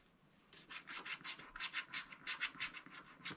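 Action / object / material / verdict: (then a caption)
scrape / wax-coated scratch-art paper with wooden stylus / waxed paper / none. A wooden stylus scratches the black wax coating off along the top edge of a page in a spiral-bound scratch-art book lying flat. After half a second of near silence, continuous strokes produce a dry, bright, rasping scrape in about fifteen quick, uneven bursts.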